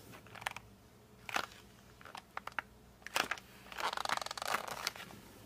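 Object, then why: Cardboard colored pencil case. Fingertips grip and rub the printed back of a flat rectangular cardboard case of 52 colored pencils held in both hands. They make short, bright squeaks and scratchy bursts that stop almost at once, with a longer stretch of dense rubbing near the end. The background is quiet.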